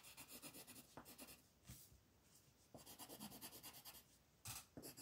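A black colored pencil is stroked and rubbed across a flat paper coloring page lying on a table, filling in shapes. The result is quick, bright, scratchy rasping strokes that come in rhythmic bursts with short quieter pauses between them.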